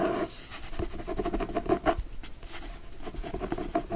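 A closed, solid hardcover book with a teal cloth cover and gold foil floral design lies flat on a fleece blanket, held with one hand while short nails and fingertips scratch across the cover. Soft, dry, papery scratching strokes repeat in a steady rhythm with a faint mid-pitched rasp and little bright content. The strokes stay quiet and short, with no ringing after each pass.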